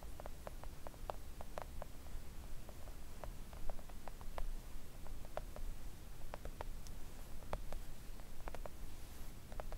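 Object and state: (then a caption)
Silicone nail art mat. Long acrylic nails tap a flat pink silicone nail art mat lying on a table. Light, quick ticks with a bright edge fall in an irregular patter over a steady low rumble, each tap dying away almost at once.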